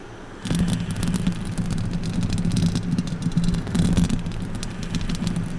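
Long orange acrylic nails on both hands scratch and rake across the hollow steel mesh grille of a silver condenser microphone on its stand. After a brief quiet moment, a dense, continuous scraping starts and runs to the end: a heavy, boomy low rumble with a steady hum-like tone near 176 Hz, streaked with brief bright, crackly scratches.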